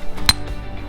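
A rock hammer strikes a piece of banded iron formation, dark iron bands layered with white chert or quartz, to test whether it breaks easily or is soft. A single sharp, glassy ring cuts through a low background hum. The rock proves hard, and the blow leaves a fresh, crystalline surface.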